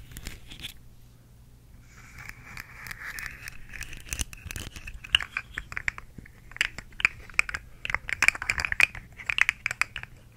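Long nails tap and scratch a rainbow plastic articulated slug fidget toy with hollow segments, held close to the microphone. A bright, crinkly scratching rasp builds after a quiet start, then gives way to dense, sharp, dry clicks and taps toward the end, over a faint low hum.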